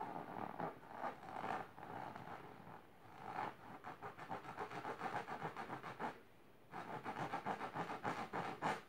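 Long silver nails scratch fast across a large pink patterned fabric-covered box or ottoman. The result is a quick, rasping run of scratch strokes centered in the midrange, with a short pause before the scratching picks up again.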